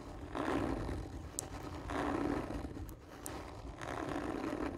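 Fingers and nails scratch slowly and hard across a hollow, textured cardboard tube lying on its side. Each long, rough stroke swells into a growling, roar-like rasp with a hollow resonance around 290 Hz. Three such swells rise and fade over a low rumbling bed, with occasional faint bright ticks.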